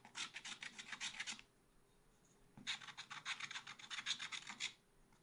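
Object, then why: Coated scratch art paper scraped with a wooden stylus. A wooden stylus scrapes repeated strokes across a black-coated scratch art paper page in a small spiral pad. Two bursts of quick, bright, raspy scratching are separated by a short quiet pause.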